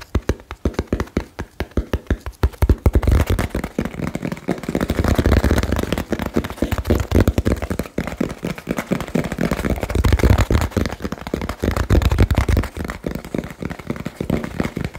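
Fingertips tap rapidly on a small, hollow, labeled cardboard box, producing a dense stream of quick, dull, low-pitched thumps. The taps are short and dry with almost no ring, and their rhythm is loose and uneven, at times blurring into a continuous drumming.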